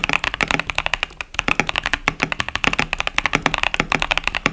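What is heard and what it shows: Fingertips type continuously on a KBD67 Lite 65% mechanical keyboard with Boba U4T tactile switches and pastel plastic keycaps. About 33 quick, bright, clacky keystrokes come in a steady run, each with a sharp tap centered around 2–3 kHz and almost no ring.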